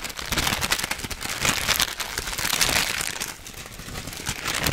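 A full orange plastic/foil snack bag is crinkled with the fingers and then shaken. The sound is a dense, bright, crackling crinkle that runs almost continuously, dipping briefly in level near the end before picking up again, with little low-end body.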